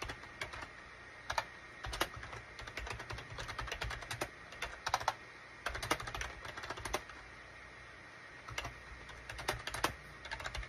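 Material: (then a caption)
Plastic. Fingertips type on a full-size gray and cream SHIPADOO K600 wired USB plastic keyboard with a hollow plastic case, resting on a desk mat. Quick, dry, bright clicks arrive in uneven bursts with short pauses between, over a faint steady background hum.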